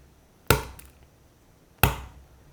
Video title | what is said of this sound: Easy Last Minute Halloween Treats | take the egg and tap it, and it leaves a cracked pattern